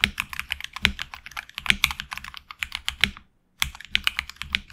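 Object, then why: Mechanical keyboard with plastic keycaps. Fingertips type continuously on a HyperX Alloy Origins Core tenkeyless mechanical keyboard with HX Red switches, PBT plastic keycaps on an aluminum plate and a hollow case. A quick run of short, bright clacks with a soft low thud under each one breaks for a brief silence just past the three-second mark, then the typing picks up again.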